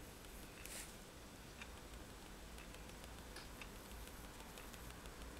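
A fineliner pen tip is tapped repeatedly onto a flat sheet of white drawing paper resting on a table, making dots. Each tap is a faint, soft tick with a bright edge over a quiet, steady low background hiss.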